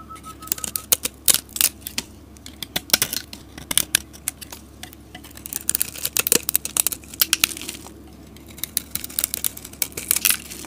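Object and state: Soap bar being carved.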